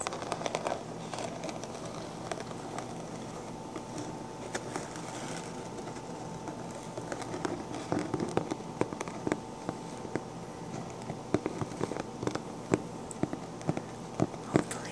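Fingertips with short dark-painted nails tap and scratch the sequins on the crown of a pink sequin-covered fabric fedora with a hollow crown. A soft, steady crackly rustle is punctuated by many sharp, dry clicks and ticks, which grow busier and more frequent in the second half. A faint steady tone hums underneath throughout.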